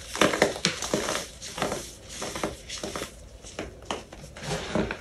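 Two bare hands crush, squeeze and rub loose, clumpy white baking soda in a large clear plastic tub, letting the crumbly powder fall through the fingers. Soft, dry crunching and gritty crumbles come in irregular bursts with bright, hissy texture and little low end.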